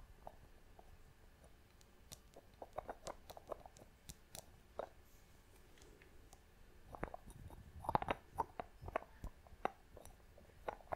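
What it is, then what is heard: Glass box with wooden lid. Long fingernails tap over the wooden lid and clear glass sides of a small glass box held in both hands. Many quiet, short, dry taps and clicks sound around a midrange tone, with occasional brighter clicks. The tapping grows denser and busier toward the end.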